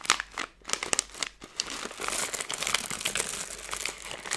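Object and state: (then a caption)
Plastic film candy bag crinkled. A plastic-film Skittles candy bag is squeezed and crumpled, then smoothed out with fingers and long nails. Sharp, bright crinkles and crackles come in quick bursts at first, then merge into a dense, continuous rustle with almost no low end.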